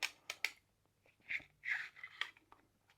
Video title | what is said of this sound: Diamond Art Club Unboxing - Lotus Pond! | they shake it, they can hear the drills rattling inside, but it doesn't matter how you shake it, the drills won't fall out